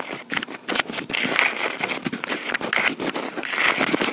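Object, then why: Plastic portable recorder with metal mic grille. Long pink acrylic nails scratch and tap near the metal mic grilles of a small black plastic Tascam portable recorder. The result is a dense run of bright, crackly scrapes and quick clicks, with faint squeaky tones around 2 kHz and almost no low end. Each tap dies away quickly.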